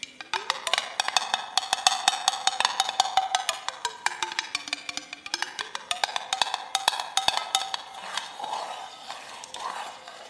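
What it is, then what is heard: Glass jar with metal lid. A small clear glass mason jar with a screw-on metal lid, held in both hands with loose shiny contents inside, is tapped and scratched by long acrylic nails on the glass body and lid. Dozens of quick, dry, bright clicks and taps sound over a ringing tone that slides down and back up, with scratchy rustling between them. The sound may carry an echo effect.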